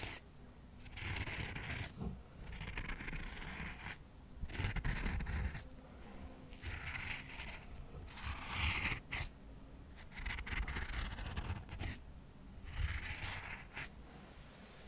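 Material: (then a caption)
Cork. Cotton swabs are rubbed and scratched over the face of a stack of square cork coasters, a solid flat material. Dry, scratchy rubbing comes in bursts of about a second or two, separated by short quiet gaps, with a soft low thudding underneath and a brighter hiss on each stroke.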